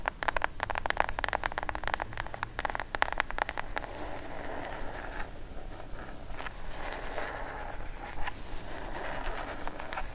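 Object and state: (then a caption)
Cardboard box tapped and scratched with nails. A plain brown kraft cardboard box, hollow and closed, is held upright while long acrylic nails tap and scratch its top edge and face. Rapid, crisp clicking taps fill the first four seconds. They give way to softer, continuous scraping and rustling over a low background rumble.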